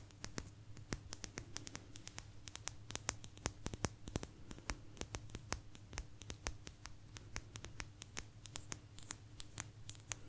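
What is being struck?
Thin agate stone slice.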